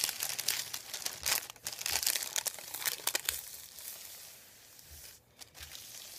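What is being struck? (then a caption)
Thin paper sheet. Fingertips and a hand rub and press a thin, folded, white printed paper sheet lying on a wooden table. Bright, dry crinkles come in irregular bursts for the first three seconds or so, then ease into a softer, steady rubbing hiss. There is a brief near-silence before the rubbing picks up again at the end.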